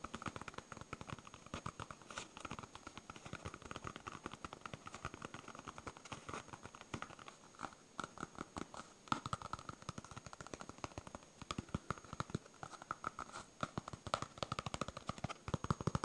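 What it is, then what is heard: Foam stress ball. A palm-sized, solid yellow smiley-face polyurethane foam stress ball is held in both hands and rapidly tapped and scratched with fingernails. The result is a quiet, dense stream of short, dry clicks and soft scratchy patters with a muted midrange tone. Each tap dies away almost instantly.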